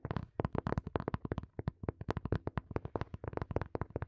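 Fingertips and nails tap rapidly on a small, hollow, black hard plastic earphone case placed behind the microphone. About 25 quick, dry taps come in an uneven rhythm, each a low hollow knock with a bright clicky edge that dies away almost instantly.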